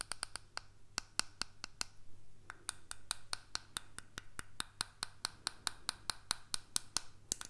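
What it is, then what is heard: Plastic earbud case. A small, hollow white plastic earbud case with a slot is held in one hand and tapped and scratched with the fingertips and nails of the other hand. It makes a rapid, steady series of sharp, bright clicks that die away almost instantly. Soft scratching fills the gaps over a faint, constant low hum.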